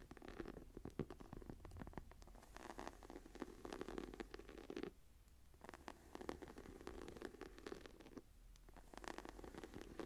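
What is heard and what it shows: Long dark painted nails and fingertips scratch and tap the embossed tree pattern on a medium brown faux leather hardcover journal lying closed and flat on a table. The result is quiet, dense, low-mid scratching and soft, quick tapping in bursts, with brief lulls near the middle and toward the end.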